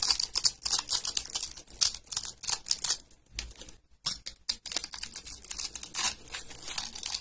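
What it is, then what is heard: Dry soap bar. A utility blade slices small cubes off a solid tan bar of dry soap, pre-scored in a grid and held in the hand, while another bar sits untouched nearby. Quick, bright, crisp crunchy clicks come in steady bursts with almost no low end, with a brief quieter pause in the middle before the crunching resumes.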